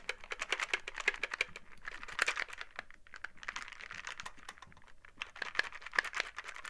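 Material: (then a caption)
Cardboard. Long painted nails on gloved fingers tap and scratch the surface of a small printed cardboard "WAR" board-game box held in both hands, which appears to contain dice. Quick, crisp, bright clicks come in dense irregular runs, each dying away almost instantly, with softer scratchy brushing between them.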